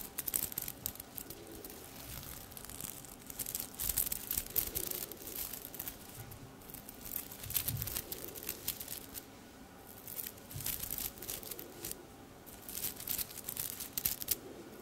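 A silver sequined top hanging on a hanger has its sequins rubbed and scratched with long red nails. The result is a quiet, bright, crinkly rustle of rapid, dense scratches rising and falling in bursts, with a faint low rumble underneath.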